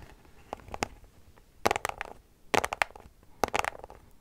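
Long nails scratch a small white cardboard product box, making dry, crackly scratching strokes with a bright rasp. The strokes come in short, uneven bursts grouped into four clusters, each ending abruptly with no ring, separated by quiet gaps.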